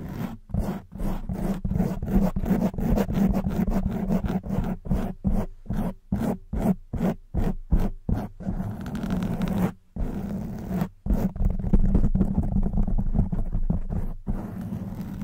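Long white nails rapidly scratch a black foam microphone windscreen. The result is dense, muffled, low-heavy scratching and rustling in quick bursts separated by brief silent gaps, with a steady low hum underneath.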